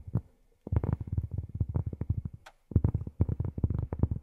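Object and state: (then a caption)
Cork tapped with fingernails. Long fingernails tap rapidly on cork in two quick runs separated by a short pause. Each tap is a soft, dull, low thud that dies away almost instantly, with no bright ring.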